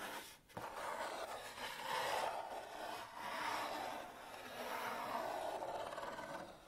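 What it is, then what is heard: Cardboard box being scratched. Long nails and fingertips rub and scratch the lid and side of a medium, flat, kraft-brown cardboard box with a thumb notch, hollow and closed. A steady, dry scraping hiss swells and fades in long waves, centered in the midrange with a papery brightness on top and a brief drop near the start.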